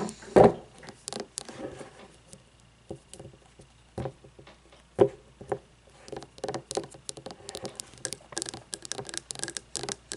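Long nails tap and scratch a frosted glass candle jar lying on its side, working over both the glass body and its labelled bottom. Quick, light, clicky taps with a brief ringing tone around 410 Hz alternate with soft scratchy patter. Two sharper, louder taps stand out near the start and at the midpoint.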